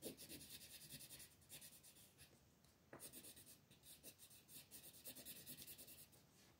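A colored pencil, held by fingers with long red nails, rubs in small scratching strokes across a flat, thin paper coloring page lying on a table. The sound is a quiet, dry, bright scratching made of rapid, uneven strokes. It thins out briefly near the middle, then picks up again and continues to the end.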